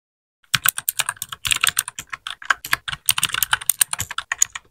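A small white 60% mechanical keyboard with plastic keycaps is typed on with the fingertips of both hands in continuous keypresses. After a brief silence, rapid bright, clicky key strikes follow one another with very short decay, forming an uneven, steady typing rhythm.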